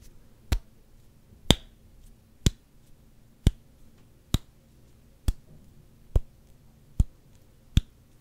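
A solid black rubber hockey puck is held near the mic and tapped slowly with fingertips. Nine sharp, dry clicks come at a steady, unhurried pace, each a brief broadband snap with a bright top that dies away almost at once over a faint low hum.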